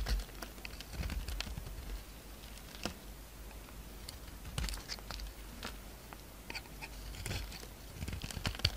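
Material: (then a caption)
Soap. A solid pink soap bar with a purple coating, held in the hand, is shaved with a utility-knife blade so flakes peel off. Quiet, dry scraping is broken by many soft, crisp clicks and brief bright crackles, with a low rumble underneath.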